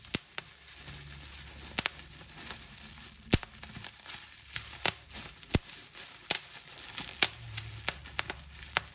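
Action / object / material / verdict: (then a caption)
scrape / plastic bubble wrap / plastic / none. Clear plastic bubble wrap is pinched between thumbs and fingers, and its bubbles are squeezed and popped. Sharp, bright pops crack out at irregular intervals over a steady crinkling rustle of the plastic. Each pop is short and dies away almost at once.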